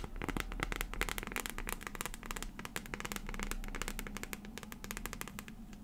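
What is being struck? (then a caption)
Transparent plastic phone case on a phone. Long fingernails tap quickly on the back of a transparent plastic phone case filled with pink and green liquid glitter, fitted on a phone. Rapid, irregular, bright clicky taps with very short ring sound over a steady low hum.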